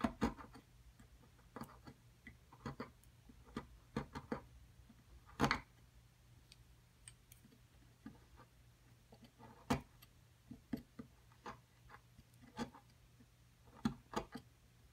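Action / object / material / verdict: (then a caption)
scrape / plaster block chipped with a metal chisel / plaster / none. A metal chisel scrapes and chips at a solid white plaster block around an embedded fossil. Irregular sharp, dry clicks and taps with very short ring are scattered through the clip, with quiet scraping between them over a steady low hum.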